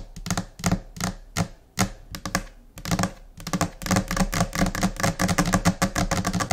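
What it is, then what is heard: Laminate desk surface tapped with nails and fingertips. Long nails and finger pads tap on a flat, solid white laminate desk surface in a scattered, chaotic rhythm. Sharp, bright clicks mix with dull, low thuds, and the taps come in irregular bursts that grow denser and busier toward the end.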